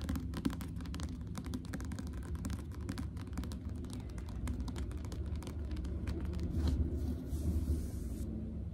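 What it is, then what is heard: Paperback book. Long manicured nails and a fingertip tap and trace across the glossy card cover and page edges of a medium yellow-covered paperback novel held in hand close to the mic. The result is a dense, irregular stream of soft, muffled taps and scratchy brushing, heavy in the low end, that grows slightly louder toward the end.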